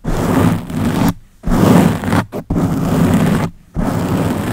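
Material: Foam.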